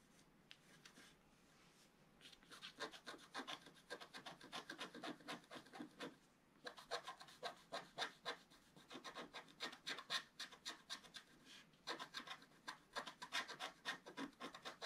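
A wooden stylus scratches fine lines into the black coating at the lower right of a wax-coated scratch-art paper page, which one hand holds flat. After a near-silent opening, quick, dry, bright scratching strokes repeat in dense bursts. The bursts pause briefly around the six-second and twelve-second marks.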